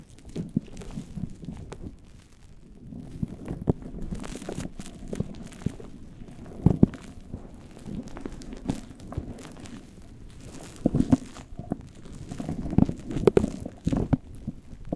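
Fingertips and nails massage and scratch a fluffy faux-fur synthetic windscreen on a microphone, with hands cupped around it. A steady, low-heavy rustling and muffled brushing fills the clip, broken by sharper crackling scratches that stand out in short bursts.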